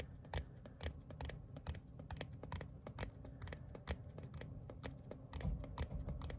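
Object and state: Paper ticket card.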